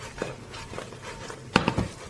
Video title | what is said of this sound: You should try this old recipe for German noodles | when I shake them you can really hear how crispy they are